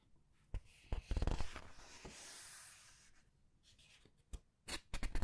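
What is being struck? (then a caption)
Thick glossy paper pages of a large book. Long red nails press, squeeze and turn the thick glossy paper pages of a large art book. Sharp taps and crinkly bursts of rustling surround a smooth, sustained swish as a page sweeps over, then scattered quick clicks and crackles follow.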